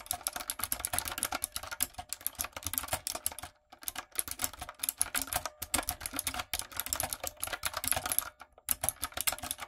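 Long nails and fingertips type on a retro typewriter-style backlit mechanical keyboard with round plastic keycaps. Dense runs of sharp, bright plastic clicks and clacks continue with little low end, broken by short pauses near 3.6, 5.5 and 8.6 seconds.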